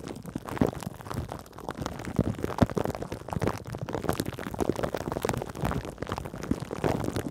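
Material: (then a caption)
Plastic film. Long acrylic nails on both hands scratch across clear plastic wrap stretched over a metal mesh microphone grille. The result is a steady stream of close, crinkly scratches and soft crackles, with quick, dry taps scattered throughout. The sound is weighted toward low and middle tones, with very little high-end brightness.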